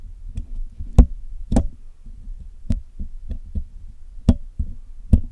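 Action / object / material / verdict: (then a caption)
tap / metal wire mesh microphone grille / metal / none. A steel hook pick and steel tweezers poke and pick at the black hollow wire-mesh metal grille of a Blue Yeti microphone. Nine short, dull, low knocks sound over a soft low rumble, some carrying a brief bright tick. Each knock dies away almost at once.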